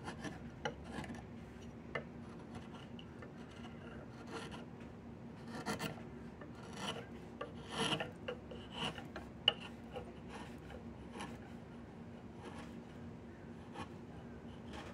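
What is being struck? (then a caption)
Diamond willow branch scraped with a steel blade. A steel chisel or drawknife blade with a yellow handle is pushed along a long, solid diamond willow branch, its bark partly stripped, held across the lap while carving a walking stick. Quiet, dry rasping scrapes come in short, irregular strokes with bright edges, over a steady low hum.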